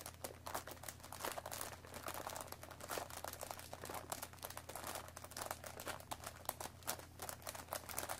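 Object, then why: Cardboard tea box. Long nails scratch and tap the top flap of a hollow cardboard Earl Grey tea bag box. The result is a steady stream of quick, dry, crinkly clicks and scratches with bright, short transients over a faint, constant low hum.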